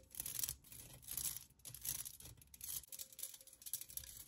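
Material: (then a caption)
Metal. Long nails tap and scratch a hollow, empty pink perforated metal pencil cup with cutouts. Bright, scratchy rasps come in uneven bursts, with quick taps and a faint thin ringing tone beneath.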